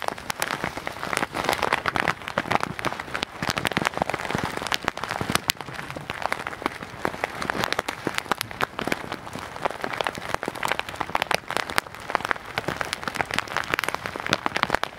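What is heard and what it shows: A clear plastic zip bag full of small white beads or granules is held in both hands and squeezed and shaken with the fingertips close to the microphone. The result is a steady, dense rattling and crinkling like rain on a surface, with many quick, dry clicks and little low end, centered around the midrange.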